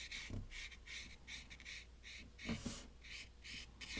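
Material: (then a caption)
Paper. A round brush loaded with dark paint is rubbed and stroked across a taped watercolor paper sheet on a wooden table. It makes a steady rhythm of soft, bright, scratchy brushing swishes, broken by a few dull low bumps, all at a quiet level.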